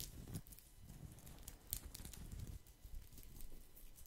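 A round woven straw placemat is held close and scratched and tapped with fingertips across its braided surface. The result is a quiet, steady patter of soft, low, dull taps mixed with dry, crackling bright scratches that fade almost instantly.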